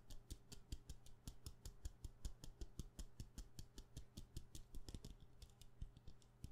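A solid, medium-sized white wax pillar candle is held in one hand and tapped quickly with long painted nails. The taps come as a rapid, slightly uneven run of short, dry clicks with bright tops over a steady low hum.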